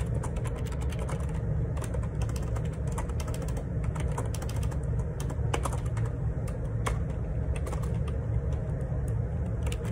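Fingertips type steadily on the plastic keycaps of a black Perixx Periboard 612 wireless Bluetooth ergonomic split keyboard with a hollow plastic housing, lying on a grey laminate desk. Quick, light clicks and taps run continuously over a steady low hum around 90 Hz, each keystroke short and dry.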